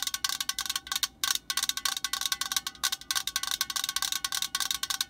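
Long fingernails on both hands tap rapidly on the body of a metal aerosol spray can, held close up. About 29 quick, bright metallic clicks come in a fast, uneven patter, with a brief pause near the middle. Each tap dies away almost instantly and has almost no low end.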